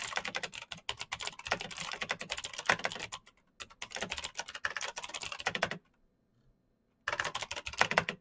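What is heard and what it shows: Both hands type rapidly with their fingertips on the clicky keys of a black plastic mechanical keyboard with backlit keys. A dense run of sharp, bright clacks comes in three bursts, with a short gap near 3.4 seconds and a longer silence from about 5.8 to 7 seconds. Each click dies away almost instantly.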